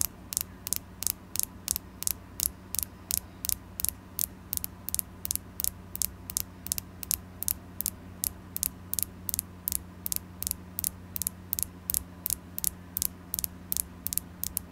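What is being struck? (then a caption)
Carnelian crystal stone. A carnelian crystal stone is tapped repeatedly in a fairly quick, slightly uneven rhythm, about 46 taps over 15 seconds. Each tap is a very short, sharp, bright click with almost no ring, heard over a constant low hum.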